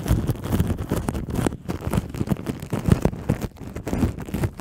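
Long nails scratch and tap with both hands on clear plastic cling wrap covering a black microphone. A close, muffled stream of crinkling, rubbing scratches and quick soft taps, heavy in low thuds with little high brightness.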